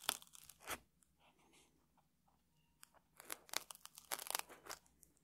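A small metal tool scratches and scrapes the crunchy surface of a round stack of puffed rice cakes in a red wrapper resting on a table. Bright, dry crunching and crackling bursts come in quick clusters, with a quieter stretch of faint scratching in the middle before a busier run of scrapes at the end.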